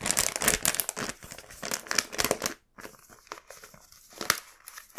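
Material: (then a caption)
Paper. A small, empty black paper gift bag printed with a cat face is held in both hands with the fingertips and unfolded, opened and creased, while candy packs lie untouched nearby. Dense, bright paper crinkling fills the first two and a half seconds, then breaks off into a brief silence. Quieter, scattered crinkles follow, with one sharp crackle near the end.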